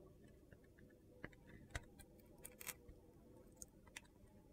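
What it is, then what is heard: Bar soap being carved. A palm-sized navy-and-red glitter bar soap, white inside, held in a hand with long red nails, is carved with a metal utility knife blade. Crisp, crunchy cuts and sharp clicks sound at irregular intervals over a faint low background hum as crunchy chunks break off.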